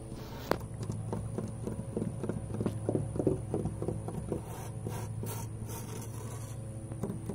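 Fingertips and short nails tap and scratch along old, grey, weathered wooden privacy fence boards, large and solid planks with knots, outdoors. Soft, dull, irregular taps and brushing scratches come in quick bursts, with one sharper knock near the start. Underneath runs a steady low rumble and a faint constant high whine.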